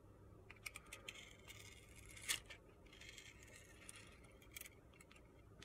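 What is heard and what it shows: A metal box-cutter blade shaves thin slices off the purple glitter coating of a solid rectangular soap bar with a white core, held in the hand. The result is quiet, crisp, high-pitched scraping and crunching strokes, with one louder scrape near the middle.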